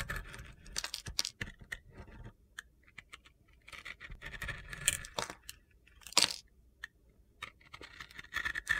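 A metal utility knife blade scrapes and shaves the edge of a dry, palm-sized rectangular bar of soap with a pink and black glitter surface and a white inside, held in one hand. Quick, bright, crunchy scraping strokes come in bursts with short quiet gaps, each stroke dying away almost at once.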